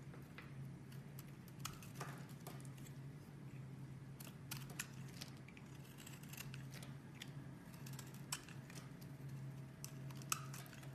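A solid cream-colored bar of soap is held in hand while a metal utility blade shaves flakes off it. Quiet, crisp scraping and cutting strokes, with short bright clicks and rasps, sit over a steady low hum throughout.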